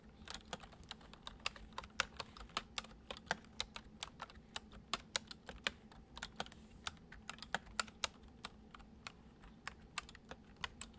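Fingertips type steadily on a full-size white plastic computer keyboard resting on a wooden desk, producing about forty quick, bright, dry key clicks over eleven seconds. Each tap dies away almost at once, with a faint low hum underneath.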